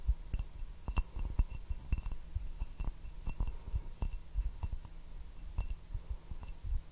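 Fingertips and nails tap on the base and sides of an empty, handleless turquoise glazed ceramic teacup held upside down in both hands. The result is a quick, irregular series of short, dry taps: low, hollow thuds with faint bright clinks that stop almost at once. A steady low hum runs underneath.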